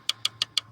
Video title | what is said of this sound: СТУК МОНЕТКОЙ ПО КАРБОНУ. ТРЕЩИНА ИЛИ ПРОСТО ЦАРАПИНА? ПРОЭКТ «ЭГОИСТ» ЧАСТЬ 2 | Потом перышки тоже у нас хорошо, прям так монолитно простукиваются.